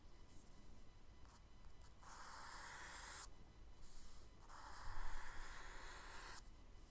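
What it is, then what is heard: Charcoal shading on kraft paper. A charcoal stick and a hand rub and shade across a brown kraft paper sketchbook page, making a soft, bright, papery hiss. A few faint short strokes come first, then two longer, louder shading passes, all over a quiet low hum.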